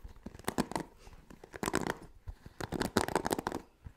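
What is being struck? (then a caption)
Plastic paddle hairbrush with bristle pad. Fingertips and nails scratch and brush across the black cushioned bristle pad of a hand-sized blue plastic paddle hairbrush held close to the microphone. Quick, dry bursts of crackly, scratchy rustling come in clusters, separated by short quiet gaps.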